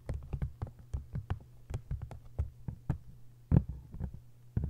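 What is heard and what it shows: Long nails tap and scratch the front and back covers of an open, face-down hardcover book with a textured paper jacket. A rapid, uneven run of short, dull, low taps with quick bright clicks sits over a faint steady low hum, with a few harder knocks near the end.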